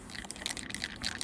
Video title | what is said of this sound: Are JustArt Acrylic Markers Worth Buying? | I do hear a bead in there for shaking.